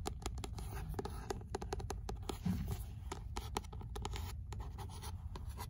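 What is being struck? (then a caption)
Paperback book with paper cover. Long nails tap and scratch the beige paper cover and spine of an old, solid paperback copy of Sartre's "L'imaginaire" held in hand. The result is a dense run of quick, dry clicks over a soft, low scratching rustle, with each tap dying away almost instantly.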